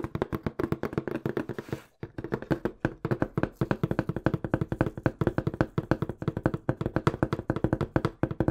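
A small, hollow, brown corrugated cardboard box is held in both hands in front of a microphone and tapped quickly with the fingertips. The result is a rapid, steady stream of dry, hollow thumps with a low body and very short decay, broken by a brief pause near the two-second mark.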